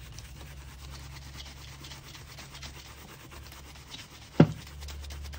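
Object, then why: Leather ankle boot and bristle shoe brush. A handheld shoe brush with a wooden back is rubbed back and forth over the leather toe and vamp of a worn black leather ankle boot with rows of metal studs, worn on a foot. Soft, steady brushing and buffing strokes are heard over a low hum, with one sharp knock near the end.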